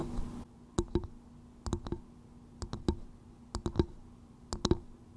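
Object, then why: Coconut shell bowl. Long nude-painted nails tap and click rapidly on the hard, fibrous outer shell of a small, hollow, empty, polished coconut shell bowl turned upside down over a microphone's fluffy windscreen. The taps come in five quick bursts of two or three sharp, dry clicks, each with a short, hollow, low-mid knock and bright click edges that die away almost instantly, separated by near silence.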